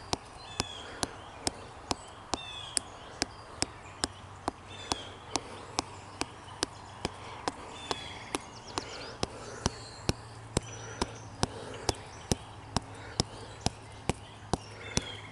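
Fingertips of a bare hand tap and rub a slender standing tree trunk in woodland, solid wood covered in smooth grey-green bark. A steady run of short, dry knocks comes at about two per second over soft rubbing, with no ring after each hit. Birds chirp high in the background over a low, steady hum.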